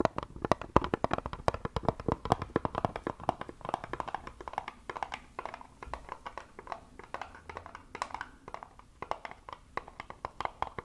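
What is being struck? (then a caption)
Small wooden box. Long acrylic nails rapidly tap a small, hollow, light brown wooden box with a slot cutout, held up close to the microphone. Dense, quick, dry taps give a hollow knock centered around 1 kHz that dies away almost instantly, with little low end and only a faint bright edge.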